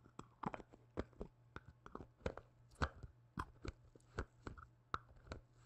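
A small white plastic cream jar with a printed label and a dark lid is held close to the microphone and tapped and knocked with black-gloved fingertips. About nineteen quiet, short, hollow knocks come at an uneven pace, each a dull, low thud with a brief bright click that dies away almost at once.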